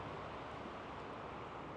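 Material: Nothing is struck.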